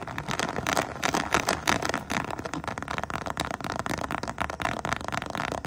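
A hollow, soft holographic faux-croc vinyl pouch with an iridescent crocodile texture is scratched and tapped across its scales by long painted nails. Quick, crackly clicks and scrapes come in a dense, steady stream. The sound is bright and dry, centered in the upper mids, with very little low end.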